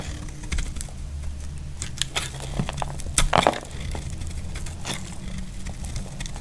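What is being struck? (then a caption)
Bar soap cut with a utility knife blade. A solid, dry lilac soap bar held in the hand is shaved and chipped into flakes with a utility knife blade. The result is a run of short, crisp scraping cracks over a low, steady rumble, with a louder burst of crunching chips near the middle.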